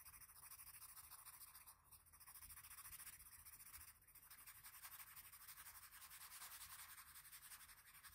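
A patterned blue wooden graphite pencil, held in the fingers, makes short scratching and shading strokes on the eye area of a pencil portrait drawn on a large flat sheet of drawing paper. The result is a quiet, steady, bright scratchy rasp made of rapid, loosely regular strokes. It briefly softens around two and four seconds before carrying on.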